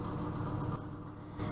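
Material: Nothing is struck.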